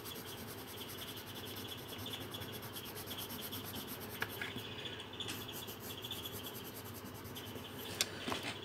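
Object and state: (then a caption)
Pencil colouring on a paper page. A green coloured pencil rubs back and forth over a thin paper page of a colouring book lying flat on a table, making a steady, soft, scratchy rasp with a bright hiss and a faint tone near 3.5 kHz. The low rubbing continues throughout, broken by a few sharp, brief ticks near the middle and end.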